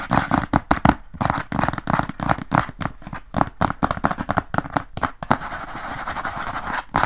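Fingertips and nails of both hands scratch across the flat brown kraft cardboard inner lid of an open rectangular document box with a black edge, held upright. Quick, dry scratching strokes come in rapid bursts, then settle into a steadier, continuous rasping near the end.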